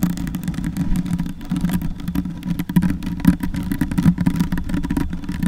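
Long white nails and fingertips scratch and rub a soft, porous black foam windscreen on a silver Yeti microphone. The result is a dense, muffled rumble and low hum, dominated by bass around 180 Hz, with constant rapid scratching and brushing that swells and dips throughout.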